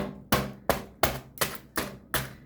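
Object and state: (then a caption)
Crisp baked filo börek crust. Tapping the crust of a hot baked potato börek made from ready-made filo dough gives seven sharp, crackly taps, each with a quick bright crunch that dies away fast. The taps show the crust is crisp.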